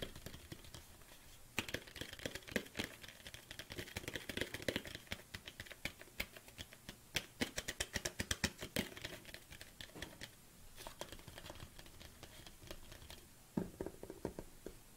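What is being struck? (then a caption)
Hollow plastic supplement tub. Long painted nails tap rapidly on the sides of a large, hollow black plastic protein tub. Quick, sharp, bright clicks with a hollow knock come in dense bursts that are busiest in the middle, and each tap dies away almost at once. The tapping eases into lighter patter with a low background hiss before picking up again near the end.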